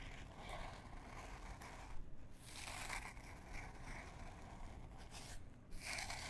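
A small printed canvas fabric pouch, held in both hands, is scratched with long fingernails. It makes a steady, dry scratching rustle with a bright, papery texture over a low rumble, briefly thinning out twice before the scratching resumes.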